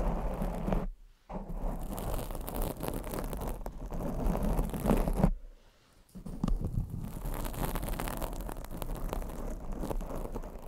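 Long acrylic nails scratch across a black foam microphone windscreen, producing a dense, muffled, boomy rustling and scraping with a heavy low rumble. The scratching runs almost continuously, breaking off briefly just before one second and again for about a second near the middle before resuming.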